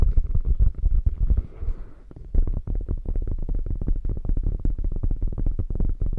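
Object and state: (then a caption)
Quilted faux leather bag. Long nails scratch and tap the quilted surface of a hollow beige faux leather bag with a padded top. A quick run of dull, muffled taps gives way to a softer stretch of scratching, then dense, rapid tapping resumes. The sound stays deep and thumpy throughout, with almost no bright content.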